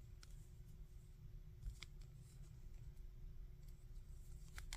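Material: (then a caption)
Plastic. A small hard-plastic articulated Cell action figure with a plastic wing piece is held in both hands while fingertips move its joints and rub its surface. Quiet, sparse clicks and scratchy ticks come over a steady low rumble, with a few sharper bright snaps standing out.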